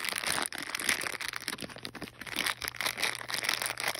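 A small sealed clear plastic bag of green and teal plastic wall clips with a cardboard backing card is held in the hand and squeezed and rubbed with fingertips and long painted nails. The result is continuous bright, dense crinkling with sharp crackles and no low-end weight.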